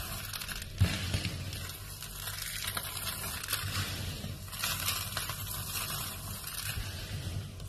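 A large pile of dry, brittle pink soap flakes is rubbed, scooped and crushed with fingertips and palms. It makes a steady, crunchy crackle and rustle over a soft low rumble, with a sharper crunch early on and bright crisp grains running throughout.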